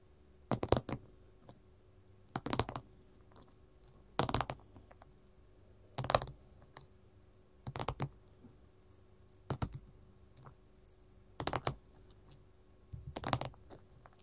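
A gold mat is tapped with metal finger-jewelry rings, heard as eight short bursts of quick, clustered clicking taps spaced a little under two seconds apart. Each burst is dry and crisp with almost no ring, reaching from low thumps up into bright clicks. Between bursts only a faint steady hum remains.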